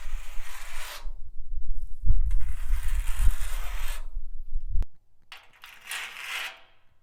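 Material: Rusted steel.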